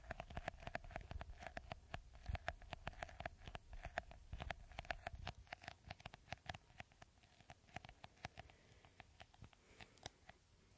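Fingertips and nails scratch the green beaded coating on top of a clear, hollow, hand-sized plastic bottle. The result is a rapid run of short, dry crackling clicks over a faint steady mid tone and a soft low rumble. The scratching eases slightly toward the end.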